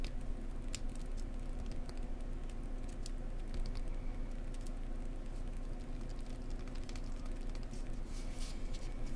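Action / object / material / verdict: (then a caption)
tap / cork block / cork / none. A cork block is tapped gently up close with the fingers, making a soft, quick patter of light taps over a steady low rumble. Sharp, bright clicks stand out now and then as the tapping continues evenly throughout.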